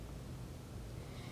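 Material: Nothing is struck.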